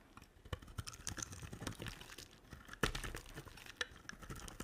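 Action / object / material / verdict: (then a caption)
scrape / glycerin soap bar shaved with a blade / glycerin soap / none. A utility knife blade shaves along the edge of a solid yellow translucent glycerin soap bar. The result is a quiet, continuous stream of dry crackling and scraping, broken by a few sharper, brighter snaps where the blade catches and chips away the soap.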